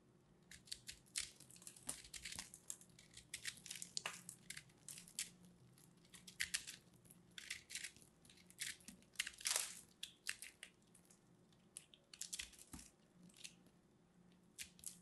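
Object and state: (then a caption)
Dried hard soap being scraped and cut. A small knife blade scrapes and cuts into a solid, palm-sized, dried hard purple soap ball held in red-nailed fingers, breaking off crumbly pieces. Quiet, bright, dry crunching and crackling clicks come in rapid irregular bursts throughout, with little low end and almost no ring after each snap.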